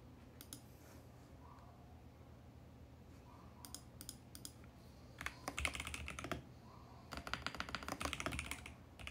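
Fingertips type at a moderate pace on a VGN X68 compact mechanical keyboard with plastic keycaps on a plastic case. Scattered short, bright clacks come first, then two denser bursts of quick keystrokes around the middle and end, all over a low, steady background hum.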